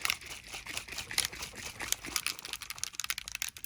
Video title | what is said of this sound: Creating Realistic Stone: Alcohol Inks + LUXE WaterFX by Victoria Wynn | shake it up until you hear the little ball